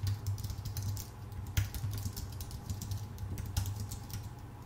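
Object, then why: Computer keyboard with plastic keycaps on an aluminum body. Both hands type with their fingertips on a full-size white Apple Magic Keyboard with plastic keycaps on a thin aluminum body, producing a quick, steady stream of short, bright key clicks. Two slightly harder taps stand out near the middle and end. A low, steady hum sits underneath throughout.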